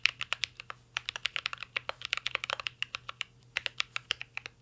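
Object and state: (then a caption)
Mechanical keyboard with metal case. Two hands type steadily with their fingertips on a full-size mint-green Cyberboard R3 mechanical keyboard with a metal case, plastic keycaps and Holy Panda switches, resting on a desk. The result is a fast, uneven run of short, bright, crisp clacks that stop almost instantly, with brief gaps between bursts and a faint low hum underneath.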